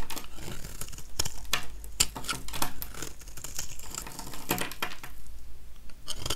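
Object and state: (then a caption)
Dry soap bar being shaved. A metal utility-knife blade scrapes shavings off the surface of a small, solid, oval, dry yellow soap bar held in one hand. The result is a steady run of short, dry, crisp scraping and crackling strokes with bright edges, some louder than others, with no ringing after each one.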